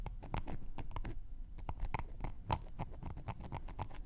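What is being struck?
Cork coaster scraped with a wooden knitting needle.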